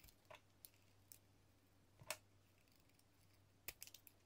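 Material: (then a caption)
Soap. A metal utility blade slices thin strips from a hand-sized, solid, translucent yellow bar of soap embossed with "00 GRS," held in fingers with pink nails. About ten quiet, crisp, bright cutting clicks are heard, scattered irregularly over a faint steady low hum, with a quick cluster near the end.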